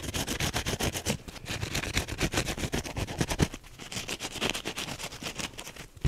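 A teal wavy foam sponge with a green scrub backing is squeezed and scratched fast with the fingernails of both hands. A rapid, steady stream of short, bright scratching strokes is heard, with soft low squishes from the foam underneath.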